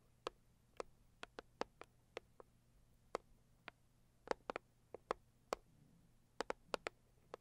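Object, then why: Rigid cardboard box. Long purple acrylic nails tap and scratch the lid of a medium-size, hollow, pink floral Saviland rigid cardboard gift box. About 20 short, crisp, hollow taps arrive at an irregular pace, sometimes in quick pairs, each dying away almost instantly. A faint low hum sits underneath.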